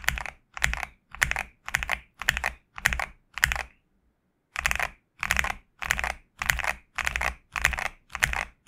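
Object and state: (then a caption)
Mechanical keyboard with PBT keycaps. Two hands type with their fingertips on a GMK67 65% mechanical keyboard with a black case and white PBT plastic keycaps. Fourteen short bursts of quick, bright, clacky keystrokes centered near 2 kHz are heard, each with a low thock underneath, and a brief silent pause falls midway through.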